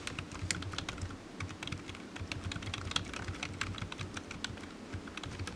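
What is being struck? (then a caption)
Plastic computer keyboard. Fingertips type steadily on a low-profile black plastic computer keyboard with hollow keys resting on a desk mat. The result is a rapid, continuous run of short, bright clicks over a soft, low hollow thud from each key press.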